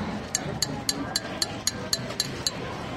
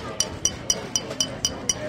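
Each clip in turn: First: Nine even, bright glass clinks, each short but clear: an empty glass bottle being tapped. Second: Seven quick, even taps on a glass bottle, each a short high clink; the bottle is full.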